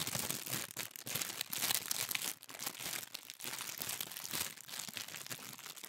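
A thin pink tissue paper sheet is gathered and crumpled in the hands, then rubbed and crinkled. The result is a dense, bright crackling rustle with almost no low end, running nearly continuously with a few brief quieter dips.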